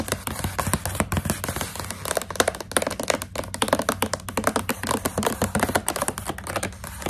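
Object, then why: Plastic snack pouch with dried fruit strips. Long pink nails tap rapidly on the surface of a partly full plastic pouch of coconut strips held in the hand. The result is a dense run of short, crisp clicks and crinkly taps, each dying away almost at once, over a steady low hum.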